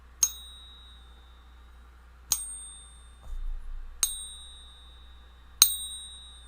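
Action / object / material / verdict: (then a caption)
tap / silver bullion coin / silver / real. A genuine American Silver Eagle silver bullion coin is pinged four times in a Pocket Pinger. Each strike gives a bright, high ring with sustained overtones near 3.7 kHz that fade over about a second. The clear, lasting ring marks the coin as genuine, for comparison with a fake.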